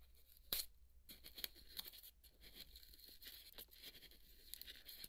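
A wooden toothpick scratches and pokes the flat cut face of half a large white polystyrene foam ball held in the hand, knocking foam crumbs loose. The result is a steady, bright, squeaky crackle of scratching and crunching, with a sharp, loud snap early on and lighter tearing scrapes after it.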